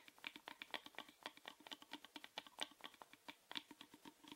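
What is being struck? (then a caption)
Small plastic box. A small hollow orange plastic rectangular box, held in the hand, is tapped rapidly with the fingernails. The result is a quiet, irregular run of quick, bright clicks that die away almost instantly, with no low-end body. It sounds much like typing on a keyboard.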